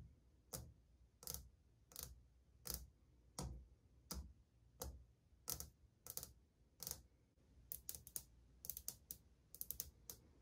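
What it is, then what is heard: Ceramic wall tile. Long painted fingernails tap and drum across old glazed white ceramic subway tiles on a solid wall. About ten evenly spaced, sharp, bright clicks with a short dull thump beneath are followed by a quicker, denser run of drumming taps. Each tap dies away almost instantly.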